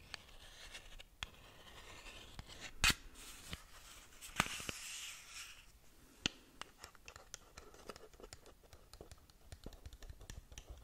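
Long nails scratch along the surfaces of a closed, hollow, long narrow black printed cardboard Wycon Lucid Dreams lip gloss box held in hands near the mic. The result is a dry, bright scratching texture dotted with quick ticks and taps. A few sharper, louder clicks stand out around the third, fourth and sixth seconds.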